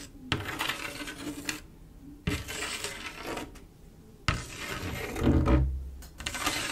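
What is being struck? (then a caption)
Mirror glass mosaic tile panel. Long acrylic nail tips scratch and rub across a flat panel of silver mirror-glass mosaic tiles set in grout. They make bright, gritty bursts of scraping with short quiet pauses between passes, and a brief low thud-like rumble rises under the last stretch.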